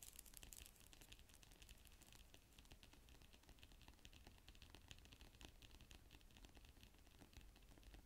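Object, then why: Plastic keyboard cover. Fingers with long nails type on a black plastic tablet type-cover keyboard, making a steady, irregular stream of quick, bright clicks and taps with an added echo. A low hum sits beneath the clatter throughout.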